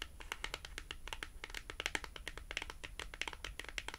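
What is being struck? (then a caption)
Thin printed cardboard tag. A small, thin, flat, solid cardboard price tag with a colorful cartoon print is held horizontally in both hands and tapped and scratched with long glossy acrylic nails. The result is a rapid, uneven run of dry, bright clicks with very short decay, centered around 2.2 kHz, interspersed with soft scratchy crinkles over a quiet low hum.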